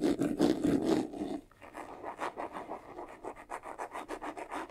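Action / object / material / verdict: scrape / faux-leather covered vanity case / faux leather / none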